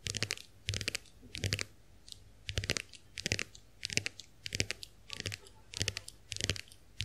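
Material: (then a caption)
Plastic. Long acrylic nails tap the dotted plastic backs of both shells of a small, round, white plastic clamshell hand mirror held open in both hands. Quick clusters of bright, crisp clicks come in short bursts with brief pauses between, each tap dry and snapping off almost instantly.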